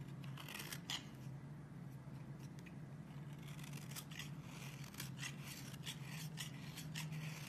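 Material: Soap.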